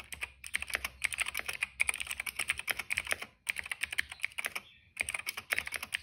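Fingertips type quickly on a retro-style cream plastic mechanical keyboard with black and purple keycaps. The key presses make bright, crisp clacks centered around 2.3 kHz, each dying away almost instantly. The clicks come in fast bursts separated by brief pauses.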